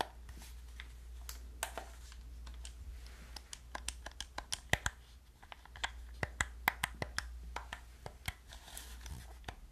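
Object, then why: Plastic game controller. A hollow black plastic gamepad is clicked on its buttons and tapped on its body with long nails. The result is a quick, irregular run of sharp, dry clicks and taps that die out almost instantly, over a steady low hum.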